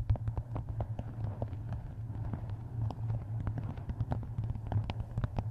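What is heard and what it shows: Long nails tap and scratch across the paper cover of a closed, map-covered hardcover book. Quick, dry clicks and short scratchy strokes come in a steady, irregular stream over a constant low hum.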